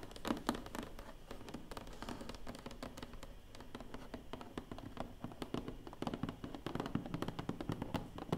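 Long painted nails tap rapidly across the lid of a large, closed, hollow black cardboard award box. The result is a steady stream of dull, hollow, low taps with a little scratchy texture and very little ring, growing louder and denser toward the end.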